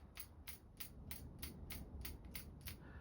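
A fishing lure with two large rattles in two separate chambers is shaken, giving nine sharp, bright rattle clicks at a steady, slightly uneven pace over a low background hum. The lure makes little sound when moved the other way.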